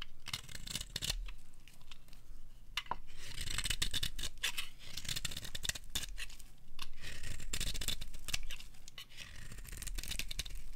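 A metal blade scrapes along the side of a dry, bright green bar of soap, shaving off curls. Quick, uneven strokes give crisp scratching and tearing sounds with a bright hiss over a low rumble. Each stroke stops dry with almost no ring.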